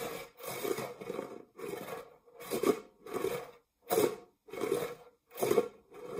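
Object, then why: Metal springform cake pan. Fingernails scratch the textured grid base of an empty, dark metal springform cake pan in a series of separate rasping strokes with short pauses between them. Each stroke gives a dry, gritty scrape centred in the mid range around 480 Hz with a faint bright hiss above it.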